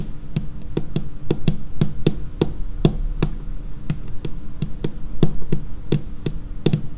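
Long painted fingernails of both hands tap a dark laminated wooden tabletop in an irregular, steady rhythm. Each tap is a short, dry click with a low knock around 150 Hz and a bright edge, dying away almost immediately over a faint background hum.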